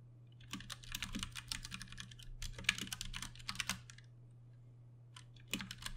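Both hands type with their fingertips on a compact 60% Ducky One 2 Mini mechanical keyboard with plastic keycaps, Cherry MX Brown switches and RGB backlighting, resting on a desk. Rapid bursts of bright, sharp clicky taps come over a steady low hum. The typing pauses for about a second before a final short flurry of keystrokes.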